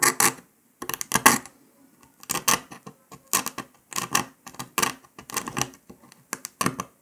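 A metal needle scratches and picks along the cut line of a brittle brown dalgona honeycomb sugar candy disc resting on paper. Short, bright, crackly scraping bursts come in irregular clusters separated by brief silences, each fading quickly with little low-end body.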